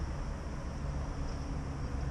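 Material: Nothing is struck.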